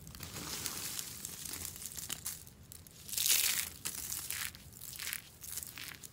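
A heap of hollow curled shavings of dry green soap is grabbed and crushed in one fist, giving a bright, dry crunching and crinkling. The crackle comes in dense waves, loudest about halfway through, with little low end.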